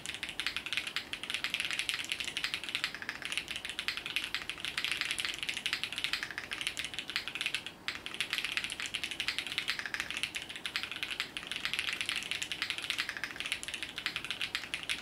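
Both hands type rapidly on a compact mechanical keyboard with multicolored plastic keycaps, producing a dense, steady stream of short, bright clacks with almost no low end. A brief dip in the typing comes just before the 8-second mark, then it continues at the same fast pace.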